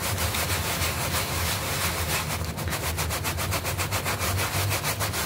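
A small, flat green artificial-grass doormat with a red leaf emblem lies on the floor, wet with soap foam, and is scrubbed with a stiff-bristle hand brush with an orange handle. Fast, steady back-and-forth strokes make a continuous wet, bristly rasp with bright, hissy swishes over a low rumble, its pace quickening slightly toward the end.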